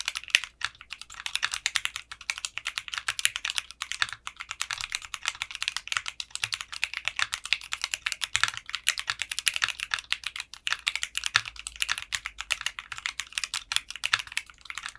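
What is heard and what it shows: Fingertips type steadily on a mechanical keyboard with clear pink polycarbonate keycaps and a translucent case. The result is a dense stream of short, bright, high clicks and clacks with almost no low end and very little ring.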